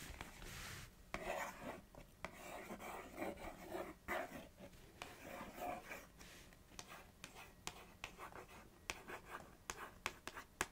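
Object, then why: Small printed cardboard snack box. Long acrylic nails trace and scratch across the surface of a small, narrow, hollow Organix snack box made of printed cardboard, with its top opened. Soft, papery rubbing and rasping strokes fill the first half, then give way to a string of sharp, dry clicks with almost no ring. The whole clip stays quiet and close.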